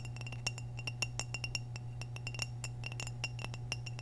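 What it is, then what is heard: Glazed ceramic vase. Long nails tap and click on the body of an orange glazed hollow ceramic vase held near the mic. The result is a rapid, irregular series of bright, short clinks with a faint ringing tone near 2.8 kHz, over a steady low hum.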